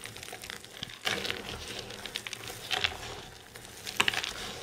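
Palms and fingers crush and squeeze a pile of dry green soap flakes, then push them into a mound. The result is a steady, bright crackling and crunching, with louder crisp bursts around the one-, three- and four-second marks and very little low end.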